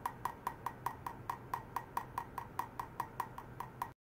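A stainless steel wire is tapped repeatedly to check how ultrasonic vibration travels through it. Nineteen short, sharp metallic ticks arrive at a steady pace of about five per second. Each tick has a clear tone near 1 kHz with a faint bright edge, dies almost instantly, and sits over a low, constant hum.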